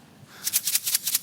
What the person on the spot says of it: 红参丹摇一摇会有这种响声